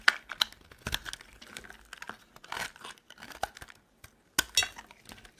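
A metal utility knife blade shaves thin curls off a solid, dry, oval green soap bar held in the hand. The result is a series of short, crisp, crumbly scrapes and crackles, bright and dry with almost no low end, separated by brief pauses and with one quiet gap before the final strokes.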